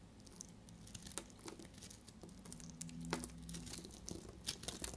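A solid, dried bar of soap, pink outside and yellow inside, is held in the hand and shaved with a snap-off utility blade. Quiet, dry crackling and crisp scraping fill the clip, with many small bright clicks and crunches over a faint low hum.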